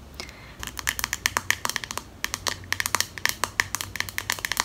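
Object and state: Plastic comb handle tapped with nails.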